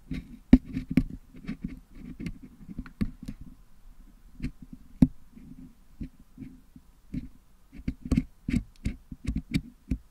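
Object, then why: Metal mesh microphone grille packed with putty, picked with a wooden toothpick. A single wooden toothpick scratches and picks at the metal mesh grille of a Blue Yeti microphone head held in one hand, cleaning out green, red and yellow putty packed into the grille. Soft, low, dull scraping is broken by irregular sharp clicks with a bright edge, each dying away almost at once.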